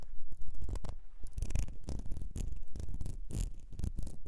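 Long nails scratch along the ridges of a small, ribbed, clear glass perfume bottle with a gold nozzle, partly filled, as it is turned in the hands. The sound is a series of quick, rough scratching strokes with a low, rumbling body and short, dry bursts that stop almost instantly.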